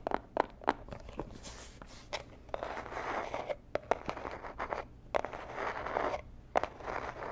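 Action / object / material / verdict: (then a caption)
scrape / small cardboard box / cardboard / none. A small, hollow, rigid teal cardboard gift box, a jewelry box, is held and scratched and scraped with long nails. Dry, papery scratching and rasping drifts in bursts, broken by sharp, quick taps and clicks that die away almost at once. The sound stays mid-range with a bright, airy edge.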